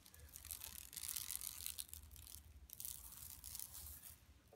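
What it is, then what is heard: Woven plastic mesh shopping bag. Long nails scratch with both hands across a flat, empty yellow woven plastic mesh tote bag lying on carpet. The result is a steady, bright, crackly rasping that swells and eases in waves, over a soft low rumble.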